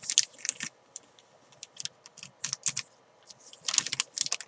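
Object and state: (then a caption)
Plastic zip bag of chalk. Fingertips with long painted nails tap and crinkle a small clear plastic zip-lock bag holding a soft, filled white chalk ball, while the fabric chalk bag beside it is not touched. Quick, dry bursts of bright, crisp plastic crinkling and light tapping come in irregular clusters with quiet gaps between them. The sound is almost entirely high-pitched, with no low end and no ring after each touch.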